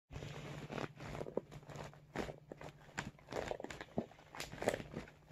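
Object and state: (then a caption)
Vinyl makeup bag. A medium blue iridescent holographic PVC vinyl zippered makeup bag with a red logo patch, hollow and soft, is held in both hands and tapped and scratched with fingertips and short nails. The result is a run of quick, soft crinkly taps and scratches with a light plastic crunch, each dying away almost at once over a steady low hum.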